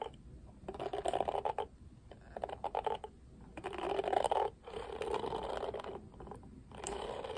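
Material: Plastic.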